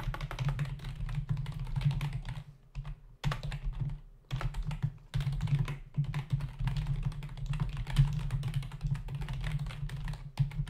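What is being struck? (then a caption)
Plastic membrane computer keyboard. Fingertips of both hands type rapidly on a full-size black plastic membrane keyboard with hollow keys resting on a dark desk. Quick, dense clacking taps run in bursts with short pauses around the third and fourth seconds, over a steady low hum.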